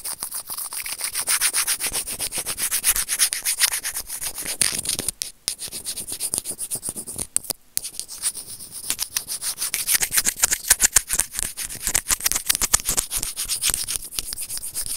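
A small, hollow white plastic earphone inline microphone remote is gripped and scraped by serrated plastic tweezers. The result is a fast, uneven train of bright, crackly rubbing scrapes with almost no low end. The scraping pauses briefly twice before continuing.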